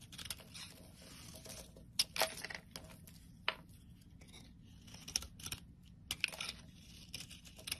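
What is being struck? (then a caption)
Bar of soap cut with a metal blade. A metal blade scrapes and slices a solid green bar of soap held in the hand, cutting it into flakes and chunks. Bright, dry scraping and crackly shaving sounds are punctuated by sharp, crisp cuts with no ring, over a quiet low hum.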